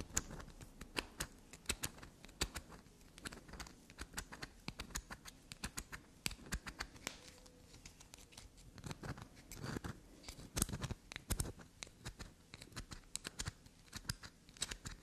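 A small solid black soap bar is held in the fingers and scratched, tapped, dug into and scraped with long black nails. Rapid, dry scratching and sharp, bright clicks and taps come in uneven bursts over a low, soft rustle, each one stopping at once with no ring.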